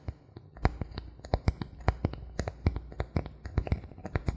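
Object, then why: Thin bamboo board. Fingernails scratch and tap on the surface of a thin, solid bamboo board held tilted. A quick, uneven run of short, dry clicks and taps, each with a low, hollow body and almost no ring, sits over a faint continuous scratching.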